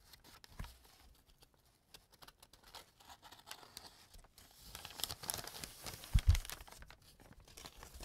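A small empty brown kraft paper bag has its edge folded and crumpled by fingertips with painted nails. Quiet, close crinkling and rustling rise into a denser, brighter scrunch after about five seconds, with a couple of louder low thumps near six seconds. The handling continues in soft crackles to the end.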